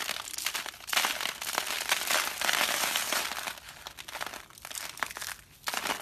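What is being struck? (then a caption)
Carved soap curls. Fingertips squeeze and crush dry, brittle carved soap curls and orange-yellow rose-shaped shavings resting on paper. Thin layered flakes crackle and crunch in dense, irregular bursts with a bright, crinkly texture. The curl crumbles into flakes.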